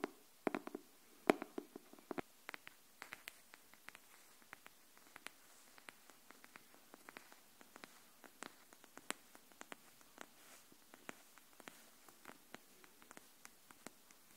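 Long nails tap the cover and then the spine edge of a pink hardcover notebook. About 44 short, dry clicks sound at a slow, uneven pace, each dying away almost instantly. The taps are quiet and sit mostly in the mid frequencies, with little low end.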